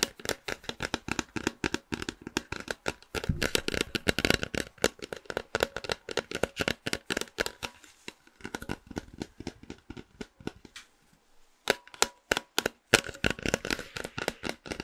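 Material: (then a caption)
Cardboard. A tall, hollow cylindrical cardboard snack can with a printed blue label is held in both hands and tapped and scratched with long nails and fingertips. Quick, dry, hollow taps come in dense flurries mixed with bright, scratchy rasping, each hit dying away almost instantly. There is a brief lull near the end before the tapping picks up again.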